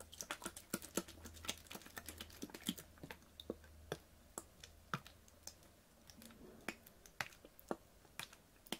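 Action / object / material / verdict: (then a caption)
tap / ribbed plastic water bottle tapped with fingernails / plastic / none. A clear, ribbed PET water bottle with a blue cap, full of water, is tapped rapidly with long fingernails. The result is a quick, irregular run of sharp, dry clicks with bright, high tops, each dying away almost at once, over a faint low hum during the first half.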